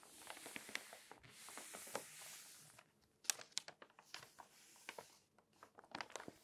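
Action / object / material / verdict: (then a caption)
scrape / glossy paper magazine pages / paper / none. A flat hand with long nails rubs across the pages of an open glossy paper magazine lying flat, making a soft, bright papery hiss. It then taps the pages with a fingertip and turns a page, producing a series of sharp, crisp crinkles and clicks after a brief pause.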